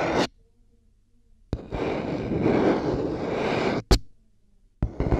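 Long nails scratch and tap the white plastic headband of over-ear headphones resting on a binaural mic, then tap the earcups. Short, sharp taps with quiet gaps between them bracket a long, dense scratching passage that rasps across a broad, bright range.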